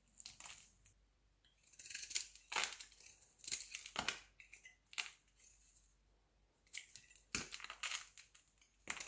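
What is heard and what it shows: A metal utility-knife blade shaves and scrapes thin flakes off a palm-sized, cream-coloured solid bar of soap held in one hand, with the shavings falling onto a white surface. Quick, crisp scraping strokes come in uneven bursts separated by short quiet gaps. The sound is dry, bright and crumbly with almost no low end.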